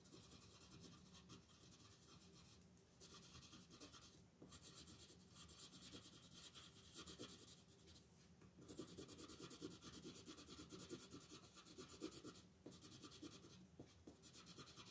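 A yellow wooden colored pencil shades a flat paper coloring book page on a table with quick back-and-forth strokes, while the other hand, with long nails, rests on the page. The same pencil makes a steady, soft, bright scratching rasp throughout. Brief pauses fall between bursts of strokes.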